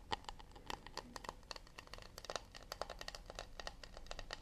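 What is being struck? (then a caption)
Acacia wood plate. Fingertips and nails tap and lightly scratch the bottom and rim of a round, shallow acacia wood plate turned underside up. Quick, quiet, dry clicks with a mid-range woody tone and bright edges come in an irregular rapid patter, each dying away almost instantly, with soft scratchy rustling between them.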